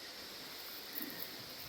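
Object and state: Nothing is struck.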